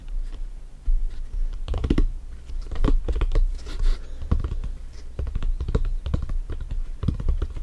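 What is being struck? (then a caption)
Inflated synthetic leather soccer ball. A full-size inflated hollow soccer ball with stitched synthetic leather panels is held and tilted, then cupped and tapped with bare fingertips. The result is a dense run of soft, hollow, low thumps around 66 Hz that die away almost instantly, mixed with light scratchy rubbing against the panels.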